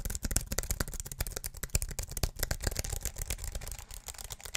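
Fingertips rapidly tap the plastic keys of a slim aluminium and plastic wireless keyboard held vertically beside the mic. The result is a fast, continuous stream of short, dry taps, each pairing a low thump with a bright click that dies away almost instantly.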